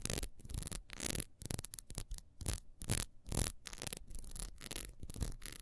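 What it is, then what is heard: Ribbed beeswax candle. A solid ribbed beeswax candle, held sideways, is scratched quickly across its rings by long nails. The result is a series of irregular, bursty raspy strokes with bright, hissy upper edges over a low rumble.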